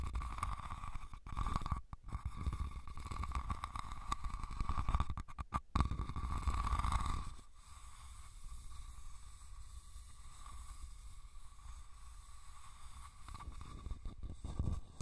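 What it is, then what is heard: Woven rattan basket being scratched. Fingernails scratch the top and sides of a hollow, red, woven rattan cylindrical basket, making a dense, continuous rustling scrape with a heavy low rumble and a steady mid-range tone. The scratching is louder for the first seven seconds or so, then drops to a quieter, softer scraping that swells slightly again at the end.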